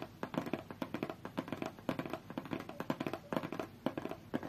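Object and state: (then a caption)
Cardboard box tapped and scratched. Long fingernails on both hands tap and scratch a closed, hollow, medium-size white cardboard Galaxy Tab A8 retail box resting on a fur rug. A quick, uneven run of dry taps with a hollow low-mid thump is heard, mixed with soft scratchy rasps. Each tap dies away almost at once.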